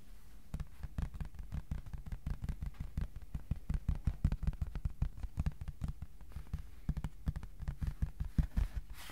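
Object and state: Cardboard sheet.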